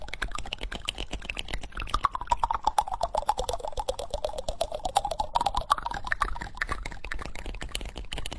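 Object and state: Wooden spoon tapped and scratched.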